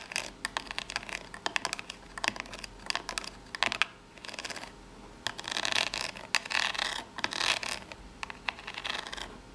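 Long pink nails rapidly tap and scratch the narrow ribbed side of a small corrugated cardboard box. The result is dense, dry, bright clicking and scraping with little low end, coming in quick bursts separated by brief pauses.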